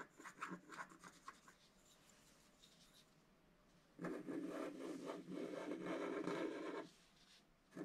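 A wooden stylus scratches the upper motifs on a flat scratch-art card with a black coating. Quick, light scratchy strokes fade into a near-quiet stretch. Then a louder, steady rasping scrape runs for about three seconds, drops away, and starts again at the end.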